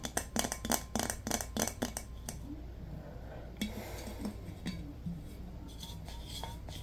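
Fingertips and nails tap a large, round, glazed ceramic vase with a rose painting, held in both hands, hollow and empty. A quick run of bright, clicky taps with very short ring comes first, then sparser, softer taps over a steady low hum.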